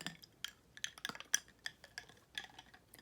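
Glass being tapped, producing a rapid series of light, bright clinks with ringing tones around 2 kHz that die away almost instantly. The taps come at uneven intervals, a few louder than the rest, over a quiet background.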